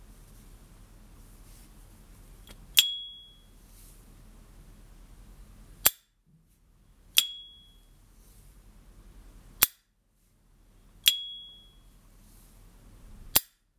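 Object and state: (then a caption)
Lighter lid ping. A rare, authentic two-tone gold and silver plated S. T. Dupont Ligne Gatsny metal lighter has its lid flicked open and shut in a sound test. Six sharp hits are heard: three bright ringing pings with a clear tone near 3.3 kHz that decay quickly, alternating with three short dry snaps, over a faint low background noise. The lighter gives its characteristic, genuine ping.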